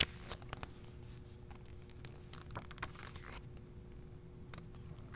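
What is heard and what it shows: A thumb riffles and turns the glossy, thin paper pages of a handheld paperback travel guide to Northern Spain. The result is quiet, crisp crinkling and rustling with brief bright flicks, over a faint steady low hum.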